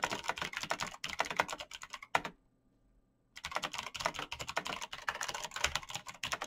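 Fingertips in fingerless knit gloves type fast on a black plastic mechanical gaming keyboard with clicky green switches, backlit keys and a hollow case. Dense, bright clicking taps run for about two seconds, stop for roughly a second of near-silence, then resume at the same quick pace to the end.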